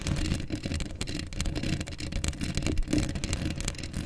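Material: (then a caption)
Steel mesh. Long acrylic nails on both hands scratch a hollow steel mesh microphone grille. The result is a dense, continuous rasping and scraping with a heavy, rumbling low end and only a little high, bright texture.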